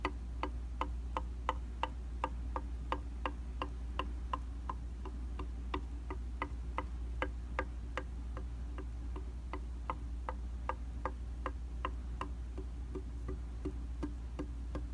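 Fast, steady taps from a tool with rubber or silicone tips, held in the fingers, strike a round glass mirror in a white plastic frame resting on a solid flat surface. About 40 short, clicky ticks centred near 900 Hz ring briefly with bright overtones. A constant low hum sits underneath throughout.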